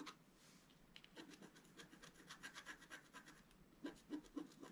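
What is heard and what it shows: A wooden stylus scratches fine strokes into a flat sheet of scratch-art paper, removing the black coating over a colored foil layer while the sheet is held flat on a table. Quiet, dry, bright scratching strokes repeat at an uneven, quick pace, with a few louder strokes near the end.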